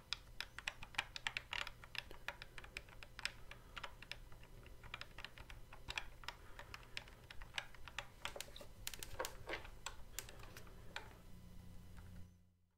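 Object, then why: Hard plastic toy guitar controller. Fingertips tap and press the colored fret buttons on the neck of a hollow, hard plastic Guitar Hero guitar controller. A rapid, irregular run of short, bright clicks with almost no ring sits over a steady low hum. The tapping thins out before the sound fades to silence near the end.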